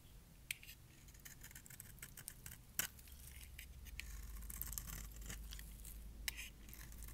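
A metal blade shaves curls off the edge of a palm-sized, solid light pink bar of dry soap with an embossed logo, held in hand. Crisp, bright scraping and ticking cuts crackle over a steady low hum, with a few sharper snaps standing out.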